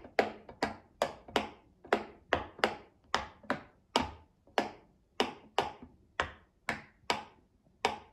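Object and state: Silicone pop-it fidget toy.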